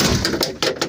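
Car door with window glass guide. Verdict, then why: Loose. A car door rattles from a loose window glass guide inside it, a fault rather than normal behavior. Four quick, bright rattling knocks are heard, each with a short, hollow ring.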